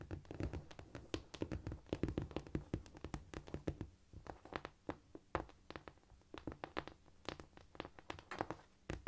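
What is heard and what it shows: A flat, solid cork floor is tapped rapidly with long nail tips and with fingertips, palms up. The result is a dense run of short, dry taps and light thunks with a low body and almost no ring, some bright clicky nail transients, and a softer, scurrying stretch in the middle.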